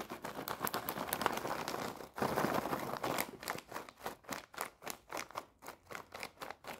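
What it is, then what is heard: Plastic snack bag. A full, red foil-lined plastic snack bag is scratched and tapped with long painted nails. It starts with about three seconds of dense, crinkly scratching, broken by a brief pause. Then come quick, bright taps at a steady pace of around four per second.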